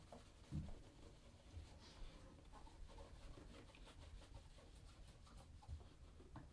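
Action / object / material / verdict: scrape / leather ankle boot rubbed with a cloth / leather / none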